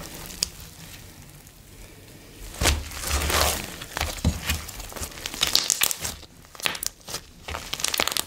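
Blue slime with coloured foam beads is spread on a bamboo board, then gathered and squeezed in both hands while fingertips knead and press it. Soft, quiet crinkling builds into a louder, bright crunchy squishing burst, followed by a run of sharp crackling pops and squelches that rise and fall unevenly.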